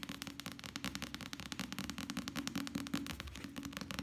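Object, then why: Paperback book with paper cover. A small, solid softcover paperback novel with a paper cover is held close and quickly tapped and drummed with the fingertips of both hands. Rapid, uneven dry taps patter continuously, with short, bright clicks over a dull, papery body and almost no ring after each hit.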